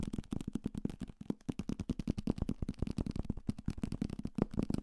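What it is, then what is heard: Paperback book. A thick paperback copy of Salem's Lot, a solid paper block with a card cover, is held close to the mic and tapped quickly and hard with fingertips and nails on its cover, spine and page edges. Around 29 dry, rapid taps come in an uneven flurry, each a short, low, papery thump with almost no ring.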